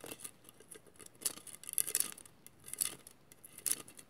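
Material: Glass.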